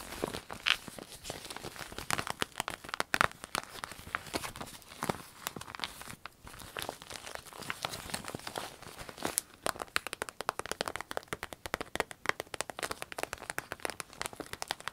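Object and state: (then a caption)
Vinyl pencil case. An empty small clear orange vinyl zip pencil case is held, scratched with long nails and crinkled by hand. It makes a dense, continuous run of crisp crinkles and scratchy ticks, bright and thin with almost no low end. The texture grows busier and spikier in the second half.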